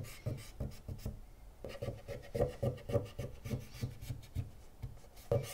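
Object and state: Plastic console casing being scraped.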